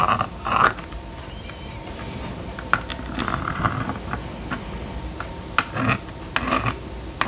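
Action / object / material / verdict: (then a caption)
scrape / plastic magnetic drawing board scraped with a plastic stylus / plastic / none. A plastic stylus on a yellow string is scratched and dragged across the screen of a small red and yellow plastic magnetic drawing board lying flat on a table, drawing lines. Short, dry scratchy strokes and sharp little ticks come in uneven bursts, with quiet gaps between them.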